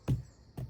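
Two dull, low, drum-like thuds as the thick bark of a giant redwood tree is tapped, each fading quickly. Tapping this bark always sounds like a drum because it is so thick, which makes hollow cavities inside the tree hard to detect.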